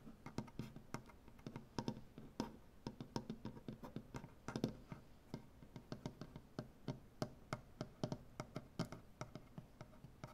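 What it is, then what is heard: Wooden butcher block table. One hand quickly scratches a large solid maple butcher-block tabletop with dark-painted nails. It makes a rapid, uneven string of short, dry clicks and scrapes with a woody low-mid body around 220 Hz. Each sound dies away almost at once against a quiet background.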